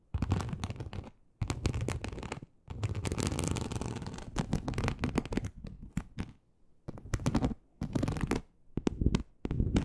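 Long acrylic nails scratch across a large, flat, teal snakeskin-embossed leather sheet. The result is bursts of dense, rasping scratching with a deep, rumbling low end, separated by brief silent pauses.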